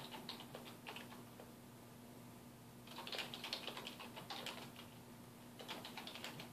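A black plastic computer keyboard on a wooden desk is typed on with the fingertips of both hands. Quick, irregular bright key taps come in bursts with short pauses between them, over a faint low steady hum.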